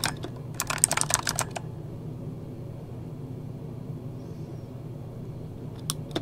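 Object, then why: Mechanical keyboard with plastic keycaps. Fingertips of both hands type on an RGB-backlit mechanical keyboard with plastic keycaps. A quick burst of sharp, bright clacks fills the first second and a half, then stops. A low, steady hum carries through a quiet stretch before a couple more keystrokes at the end.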